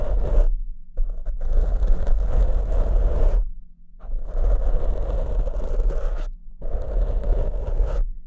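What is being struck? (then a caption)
Foam microphone windscreen. Fingertips of both hands scratch two matching large black soft porous foam windscreens on studio microphones. The result is a dense, low, rumbling scrape with a steady hum underneath, coming in long bursts separated by brief near-silent pauses.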